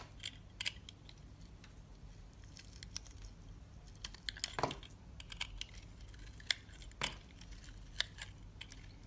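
A metal box-cutter blade scrapes the surface off a solid oval green soap bar with a dotted surface, held in the palm. Quiet, bright, crisp scraping clicks and short shaving bursts come at irregular intervals over a steady low hum, each dying away almost instantly.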